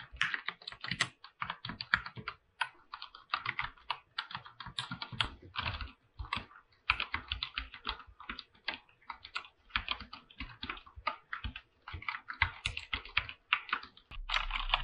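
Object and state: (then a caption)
Mechanical keyboard with PBT plastic keycaps. Fingertips type continuously on a full-size mechanical keyboard with an aluminum body and white and light-blue PBT plastic keycaps. Rapid, crisp clacks with short, dry decays come in quick runs and bursts, with a bright upper edge and a light low thud under each keystroke. The final second turns into a denser, continuous run of keystrokes.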